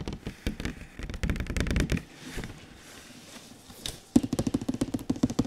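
Fingertips tap and knock on a large glossy printed cardboard console box as it is tilted. Rapid bursts of dry, hollow taps with a low body ring give way to a quiet stretch of soft brushing and shifting. A brisk run of distinct knocks follows, each dying away almost at once.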